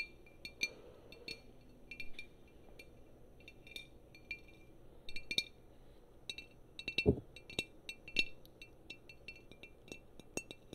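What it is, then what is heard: Glass wine bottle. A tall green glass wine bottle with a pale label, held upright, is tapped and scratched along its neck and body with long painted fingernails. Quick, bright glassy clicks and clinks come in uneven bursts, each dying almost instantly, over a soft low hum and faint scratching. One firmer tap near the middle rings briefly around 400 Hz.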